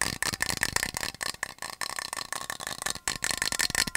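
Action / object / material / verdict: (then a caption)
tap / metal water bottle / metal / none. A medium-sized, hollow, yellow-painted metal water bottle with a black cap and loop handle is held by hand near the mic and tapped rapidly with fingernails. The result is a fast, uneven stream of sharp, bright clicks with a faint metallic ring around 1.8 kHz and almost no low end.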